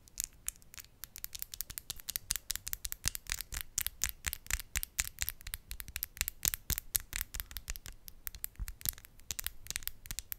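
Long, solid acrylic nails are tapped and scratched nail on nail, with both hands held together in front of the mic. Rapid, irregular, bright clicks with very short decay mix with brief scratchy scrapes over a quiet low rumble throughout.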